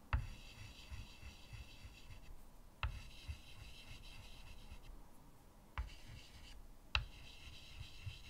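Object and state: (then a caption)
Chalk drawing on a framed chalkboard. White chalk scratches short strokes at the right side of a medium, flat chalkboard in a wooden frame. Four sharp taps mark where each stroke starts, each followed by a steady, bright, gritty scrape over a low rumble. Between strokes there are brief quieter gaps.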